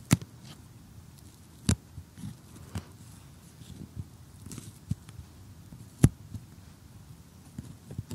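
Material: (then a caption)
Cardboard. A close-up cardboard jigsaw puzzle with a cottage scene and one piece removed is tapped and poked with metal tweezers and a fingernail. Quiet, dull, low taps and soft scratchy pokes are scattered throughout, with three sharper, brighter clicks standing out near the start, around the middle, and later on. Each sound dies away almost instantly.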